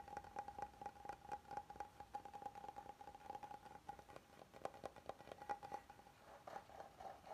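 A flat, oval, solid wooden serving board is held up while fingertips and nails scratch and tap along its lower edge and underside. The result is a quiet run of quick, dry taps and scratches with a faint, steady tone around 820 Hz beneath them. Each tap dies away almost at once.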